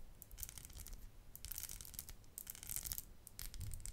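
A small strung bracelet of solid, round polished stone beads in purple, blue and grey is held up in both hands and tapped and rubbed with long acrylic nails. Bursts of crisp, bright clicking and scratchy rubbing come and go over a low, quiet rumble.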